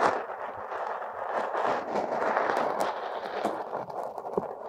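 Two metal hook tools scrape and dig purple, crumbly kinetic sand packed over a silicone nose at the nostrils. The sound is a steady, grainy midrange rasp with scattered bright crackles and small ticks as the sand breaks apart.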